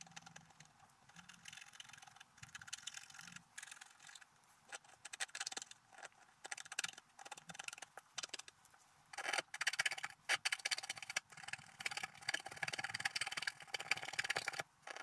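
A wooden stylus scratches the coating off a flat, coated scratch-art paper sheet in short strokes while the other hand holds the sheet. The result is a steady run of dry, bright, scratchy rasps with brief gaps between them. The strokes grow denser and louder in the second half.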